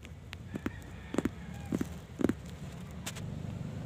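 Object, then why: Corrugated cardboard sheet. Fingertips with short nails tap on the top face of a flat, thin, hollow-fluted, empty sheet of corrugated brown cardboard lying on a white surface. Short, dry, hollow taps come in quick clusters, often in pairs, with almost no ring. A steady low rumble and soft hiss sit underneath.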